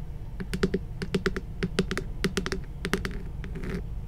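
A hand-sized, glowing pink spherical moon lamp with a hollow, textured plastic shell is held near the mic and tapped with long nails. About twenty quick, dry clicks sound in an irregular, typing-like rhythm, each with a short, hollow low body and a bright tick that dies almost instantly. A softer scratchy brush near the end runs over a steady low background hum.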